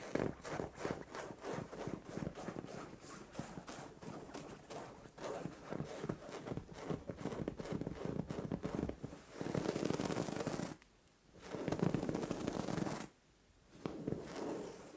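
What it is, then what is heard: Fabric bed cover being scratched. Long orange acrylic nails scratch and claw into a soft, padded white fabric bed cover or pillow. For the first nine seconds there is a quick run of short, muffled scratching strokes. These give way to longer, fuller rubbing passes, with brief near-silent pauses around 11 and 13 seconds.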